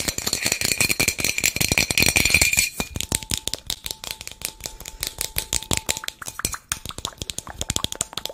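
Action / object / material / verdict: shake / small plastic bottle with loose contents / plastic / none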